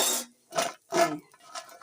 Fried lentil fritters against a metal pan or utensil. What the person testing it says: কি সুন্দর এই যে দেখো মচমচে শব্দ